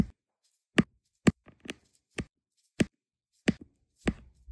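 A metal-tipped applicator pen taps small solid resin diamond painting drills down one after another onto an adhesive canvas. Seven short, dry taps land at uneven intervals, each a soft low thud with a bright click on top, and they die away almost instantly with fainter ticks in between.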